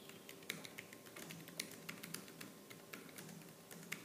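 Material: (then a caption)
Plastic. Fingertips with purple-painted nails type fast on the black plastic keys of a laptop keyboard. About nineteen quick, bright, clicky taps sound in an uneven stream, each dying away almost instantly, over a faint low hum.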